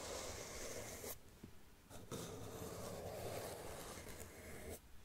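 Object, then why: Sequin-covered fabric slip-on shoe with rubber sole. Long nails scratch and tap across the sequins of a single gold sequin-covered slip-on sneaker with a white rubber sole, hollow and empty. A dense, bright rasping fills the clip in two long stretches, with a brief quieter pause around one second in and a drop near the end.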